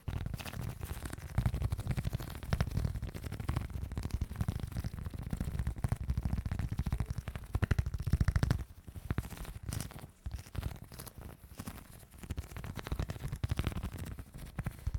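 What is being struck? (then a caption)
Soft putty sheet. A large, flattened sheet of soft pink putty is held in both hands over the microphone while fingers knead, stretch and squish it. The result is a dense, continuous stream of low, muffled squelches and crackles, louder through the first half and quieter with brief pauses after about 8.5 seconds.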